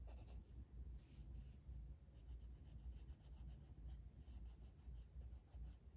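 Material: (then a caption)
Paper. A blue wooden colored pencil, held in the fingers, is rubbed in shading strokes across a flat paper coloring book page resting on a table. The result is a quiet, continuous scratchy rasp, with repeated bright bursts of pencil friction over a low, steady rumble.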